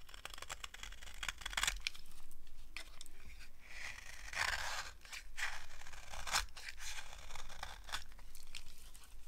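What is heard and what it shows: A green-handled blade scrapes crunchy shavings off a solid, dry green soap bar held in the hand. Repeated dry, bright scraping and tearing strokes come in bursts of varying length over a steady low hum.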